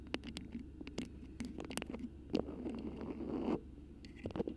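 A cream beeswax-coated cotton food wrap with a black print, formed over a microphone, is scratched and squeezed with long pink acrylic nails and fingertips. Sharp, crackly ticks and scratches come in quick bursts, then a longer, louder crumpling squeeze builds and stops abruptly before more light scratching. The sound is close, dry and papery, with bright clicks over a soft low rumble.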